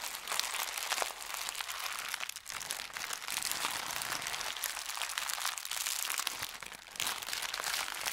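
A thin white paper sheet is crushed into a ball and crumpled in the hands, giving a steady stream of dense, bright crinkling and crackling. There are brief dips in loudness around 2.4 and 6.6 seconds.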